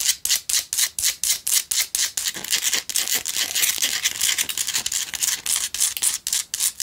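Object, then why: Rock-salt lamp scratched with fingernails. A small lit Himalayan rock-salt lamp, a solid rough chunk with a cord, is held in one hand and scratched with the long acrylic nails of the other hand. Quick, bright, gritty scratching strokes repeat about four times a second, sometimes blurring together, with almost no low end and each stroke dying away fast.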